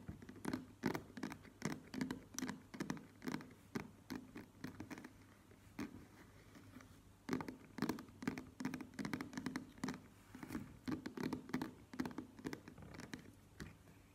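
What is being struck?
Plastic cosmetic squeeze tube.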